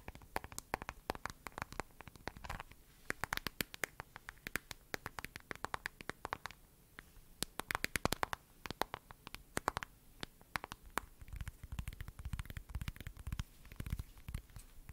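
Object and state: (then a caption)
Plastic phone case tapped with nails. Long nails tap and scratch the back of a glossy lavender plastic case on a smartphone held in both hands. Quiet, rapid, sharp clicks with bright, dry edges are heard, with scratchy rustling between taps and a fuller, lower scraping texture in the last few seconds.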